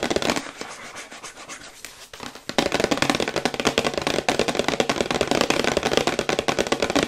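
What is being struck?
Printed cardboard product box.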